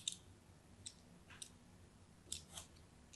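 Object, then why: Bar of soap. A thin pointed blade scratches across a solid, hand-sized orange-and-white striped bar of soap held in the hand, scoring a crosshatch pattern. Several short, bright, crisp scraping clicks stand out over a quiet, low background. Each scratch dies away almost instantly.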